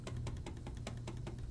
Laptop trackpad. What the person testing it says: the way that this trackpad kind of clunks when you click it